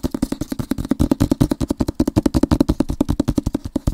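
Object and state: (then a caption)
Cardboard book box set. A rectangular Avatar-themed cardboard book box set is held close to the microphone and quickly tapped and scratched with fingernails and fingertips. About 38 rapid, dull taps sound in steady succession, each short with almost no ring and a low hollow tone, mixed with light scratching.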